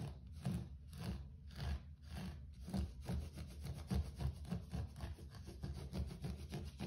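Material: Carpet fibre.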